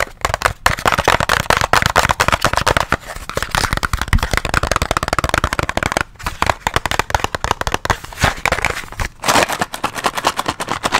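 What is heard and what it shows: Fingernails and fingertips rapidly tap and scratch a small, hollow white and teal cardboard box held close to the mic. The result is a dense, dry stream of crackly clicks and papery scrapes with a mid-range body and bright edges. Each tap dies almost instantly, with only brief pauses between bursts.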